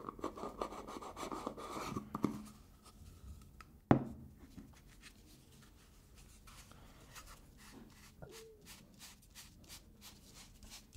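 Fingertips and nails tap and scratch the top and sides of a black plastic screw lid on a medium black plastic hair gel jar with a green label. A dense, scratchy rubbing opens the clip, broken by a sharp tap and then a louder, clicking knock. After that come softer, scattered ticks and light taps with brief, dry decays.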